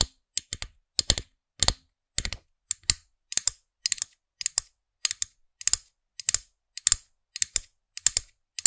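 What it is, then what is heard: Plastic figurine pen toy tapped with nails. Long nails tap and scratch the small hard plastic orange-haired character head of a figurine-topped pen toy on a black plastic stem, close beside the microphone. The result is a steady run of quick, dry, bright clicking bursts, often in short double or triple clusters, with almost no low end and no ring.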